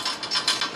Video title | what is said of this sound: 1998 Kawasaki ZX9R - Project Shinobi, Episode 7 - Last Bit Of Frame & Swingarm Prep & Fork Teardown! | the two ends of the rivener are actually inside there and if you if i shake it you can hear them